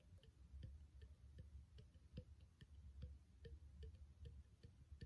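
A small, empty, clear plastic spray bottle with its cap removed and threaded neck exposed is held in one hand and tapped with the fingertips of the other. The result is a steady series of soft, quick, hollow taps with a low, dull tone that die away almost at once, heard quietly over a faint background hum.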